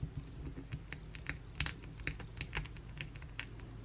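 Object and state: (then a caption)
Bar of soap. Long, pointed blue acrylic nails on both hands scratch the face of a solid white oval bar of soap. The result is a quick, uneven run of sharp, bright scratchy ticks, much like typing on a keyboard, over a steady low rumble.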